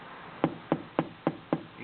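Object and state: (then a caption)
Damped metal radio case, solid not tinny. Five taps on the metal case of a Uniden Madison 40-channel AM SSB CB base station radio, whose bottom, sides and back are lined with Dynamat sound-deadening material to remove a hollow, tinny sound. Each tap is a short, dull knock that dies away almost at once. The case now sounds solid rather than tinny.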